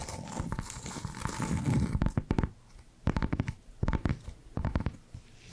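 Long black nails scratch across the surface of a small, flat, square cork coaster with a barcode sticker, thin and solid, producing a dense, dry scratching for about two seconds. Then come bursts of quick, dull taps in short clusters separated by brief quiet gaps. The sound is soft and low-heavy with little bright content.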